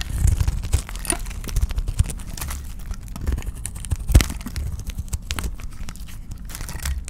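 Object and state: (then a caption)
Dry soap bar being cut. A rectangular cream-white solid dry soap bar held in the hand is cut and scraped with a utility knife blade, peeling off crumbly curls. Many short, dry crackling scrapes and crunches run throughout, with a low rumble underneath and a few louder snaps.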